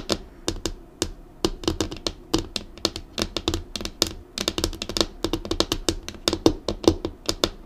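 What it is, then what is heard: Laminated wooden desk. Long acrylic nails on both hands drum quick taps across the flat, solid top of a black laminated wooden desk. Each tap is a sharp, bright click with a soft low knock underneath, dying away almost at once. The taps come in fast, uneven bursts with brief pauses between them.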